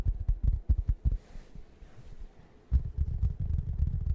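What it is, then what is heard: Fabric foam cushion. Fingertips rub and scratch the soft fabric surface of a large, round, plush waffle-shaped foam cushion held close to the microphone. Deep, muffled thumping scuffs come in quick uneven bursts, fade to a quiet, soft rustle in the middle, then return as a denser, steady low rubbing.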